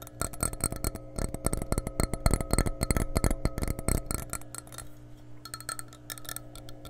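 Long nails scratch and tap an empty, hollow glass measuring cup held above the microphone. Rapid, irregular taps produce short dull knocks with faint bright glassy clinks and a soft scratching texture between them. The tapping eases into quieter scratching near the middle, then quick taps return toward the end.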